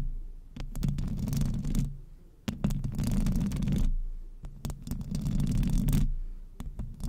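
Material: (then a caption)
Metal mesh. Long acrylic nails on both hands scratch the metal mesh grille of a silver microphone. The result is a deep, rumbling, muffled roar with faint scratchy, bright texture and scattered clicks, rising and falling in three long swells.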